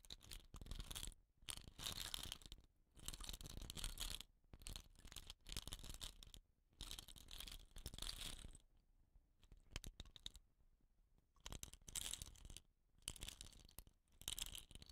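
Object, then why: Bamboo rain stick with rattan end. Fingertips and nails scratch the woven rattan end and dot-painted surface of a hollow painted bamboo rain stick. Quiet bursts of dry, bright rasping, centered near 3 kHz with a low rumble underneath, come in stretches separated by short silences.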